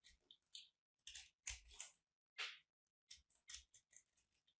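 A metal blade cuts, scrapes and crushes a small, dried, crumbly white and purple soap chunk held between the fingers of one hand with long painted nails. Irregular bursts of bright, crisp crunching and scraping are separated by short silences. Each burst dies away quickly.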